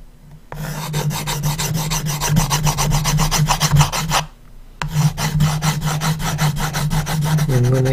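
A blue colored pencil scratches fast hatching strokes across the wooden lid of a small coffin-shaped box marked with red ASM letters. The result is a rapid, dry rasping scratch with a steady low hum beneath, in two long bursts split by a short pause about halfway through.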